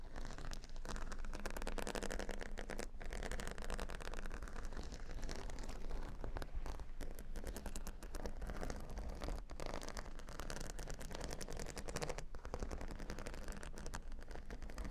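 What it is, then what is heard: Plastic pearl beads on a cork board. Fingernail tips scratch and pick at a grid of plastic faux-pearl beads covering a square cork board. The result is a continuous, dense clicking and crackling texture over a low, bassy rumble, with no clear pauses between the quick taps.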